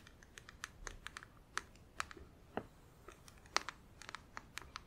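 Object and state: Plastic nail organizer box tapped with acrylic nails.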